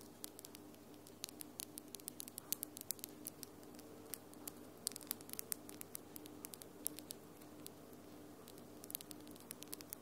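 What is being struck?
Acrylic nails.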